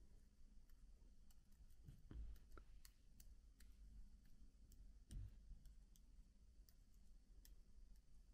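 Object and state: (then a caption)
Plastic laptop keyboard keys being tapped. One hand slowly taps individual plastic keycaps on a MacBook keyboard with a fingertip. Soft, bright clicks come at an irregular pace over a low, steady hum, with two duller, louder thumps standing out early and midway through.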